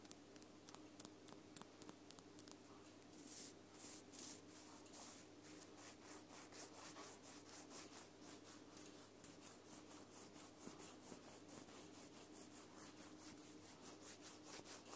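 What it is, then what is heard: Wooden toothpick. Long purple acrylic nails scratch and rub along a small, thin, solid wooden toothpick held between both hands above a recorder. A few faint ticks lead into a steady run of quick, dry, bright scraping strokes that swell and fade in a rhythmic back-and-forth, each stroke short with no ring.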